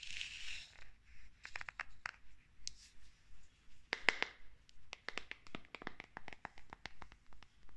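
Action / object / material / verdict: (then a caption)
tap / small glass jar / glass / none. Long red acrylic nails scratch and tap a small, green-labelled glass jar of bath salts that looks full and is held in the hand. A soft, bright scratching opens the clip, then gives way to a quiet, irregular string of sharp, clicky taps with a high glassy tick and almost no ring.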